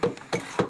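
Knocks on a large hollow wooden piece embedded in ice give a few quick, dull, hollow thuds centered around 490 Hz. Each thud dies away almost at once, showing the wood is hollow.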